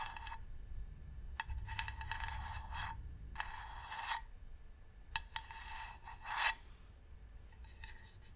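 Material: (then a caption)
Wood. Long nails scratch and tap along the top edge of a medium, hollow, varnished wooden box. Bursts of dry, raspy scraping carry a hollow ringing tone near 900 Hz, broken by a few sharp, quick taps. A low, steady rumble sits underneath throughout.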